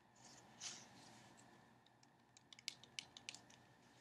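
A small sealed cardboard playing card box is turned in the hands, tapped and scratched with long nails. A soft, bright scratchy rustle swells early on, then a quick run of sharp, dry, high clicks follows near the end over a quiet hiss.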